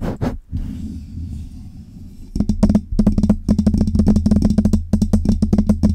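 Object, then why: Metal microphone with mesh grille. Long red nails scratch and tap the metal grille, body and side knob of a Blue Yeti USB microphone. Two quick taps open the clip, then a soft low scratching runs underneath before a fast, irregular run of sharp clicking taps with a low hum. Each tap ends quickly.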